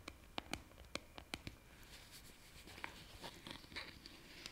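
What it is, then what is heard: Plastic jar lid tapped and scratched. Long painted nails tap and scratch a green plastic lid on a white plastic jar held close to the mic. A series of sharp, bright, clicky taps comes first, then a softer, hissy stretch of scratching with occasional light clicks. The sound is quiet and close, with a faint hollow plastic tone.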